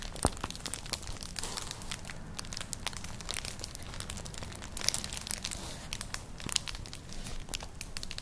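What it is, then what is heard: Woven straw clutch bag. Long nails scratch across a flat, colourful, hollow woven straw-like clutch purse, making a dense, continuous crinkling scratch. Sharp, bright crackles and clicks stand out over a low, steady rumble.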